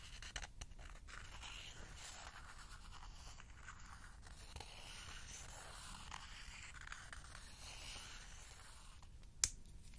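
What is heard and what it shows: A small wooden spoon scratches and scrapes along the inner wall of a small, empty, hollow bowl of spiral-wound lacquered bamboo held in one hand. The result is a quiet, steady, dry scraping with a bright, hissy texture over a low rumble, a few light taps near the start, and one sharp click near the end.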